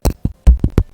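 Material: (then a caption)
Plastic. A piece of shrink plastic film, bendy to start and baked hard in an oven into a decoration, is tapped five times. Each tap is a short, dull, low-pitched knock that dies away quickly, showing the plastic has set hard.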